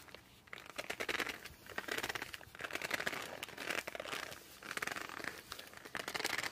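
Fingertips grip and rub the glossy cover of a laminated cardboard board book held at an angle. The result is dense, bright squeaks and crinkly scratching in repeated bursts, with a tight, dry sound and almost no low end.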